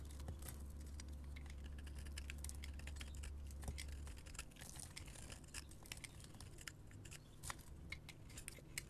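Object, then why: Bar of soap. A metal blade scrapes crumbly shavings off the surface of a solid orange soap bar held in the hand. Quick, irregular, crisp scratchy ticks crackle through the high range over a low hum. The hum drops away after about four seconds, leaving the dry scraping clicks.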